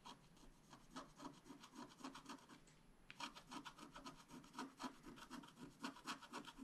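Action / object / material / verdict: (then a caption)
scrape / scratch-art card scraped with a wooden stylus / coated paper / none. A wooden stylus scratches the coating of a thin black-coated scratch-art card lying flat and steadied by one hand, in continuous short strokes. The quiet, dry scratching comes at about four strokes per second, each with a bright papery rasp, and pauses briefly around the three-second mark before continuing.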